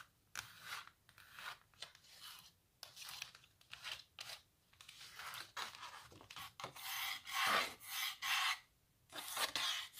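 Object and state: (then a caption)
Back of a stretched canvas on a wooden frame. Long nails scratch across the white canvas back of a small stretched canvas and along its wooden stretcher bars. The result is a series of uneven, dry, rasping strokes with a bright, hissy texture, separated by brief pauses. The strokes vary in length and loudness, with the densest scratching near the end.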